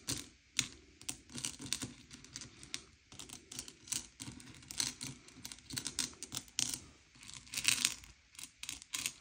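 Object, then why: Sugar-shelled chocolate candies on a plate. Fingertips slide and push a pile of M&M's candy-coated chocolates, small hard sugar-shelled candies, across a grey plate to sort them by colour. The result is a quiet stream of bright, dry clicks and soft rattling clatters, with short bursts that stop almost instantly and very little low end.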